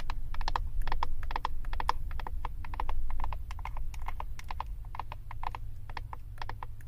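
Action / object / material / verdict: tap / plastic eyeshadow compact tapped with acrylic nails / plastic / none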